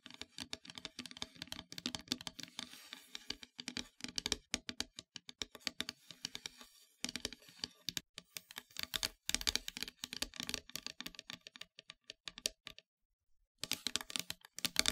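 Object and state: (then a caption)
Painted wooden heart plaque. Long metallic nails tap and scratch rapidly across a flat, solid, dark painted wooden heart-shaped plaque. The result is a dense run of crisp, bright clicks with very short, dry decay and faint scratchy texture between them. There is one brief pause near the end before the tapping resumes.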